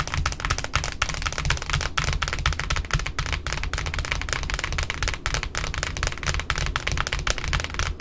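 Long nails tap and scratch the white cardboard disc of a large pink satin ribbon spool resting on a table. Rapid, irregular dry clicks over a low hollow thump blend with bright scratchy friction, steady throughout.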